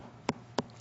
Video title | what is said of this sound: Debbie Meyer UltraLite GreenBoxes 28piece Starter Set | It's a thick, hollow sound. That's what a fresh pepper should sound like.